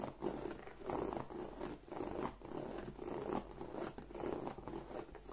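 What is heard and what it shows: Long nails scratch across the textured front of a black croc-embossed leather bag. The result is a soft, dry, rasping scrape that swells and fades in repeated strokes. It sits mostly in the low-mid range with little brightness.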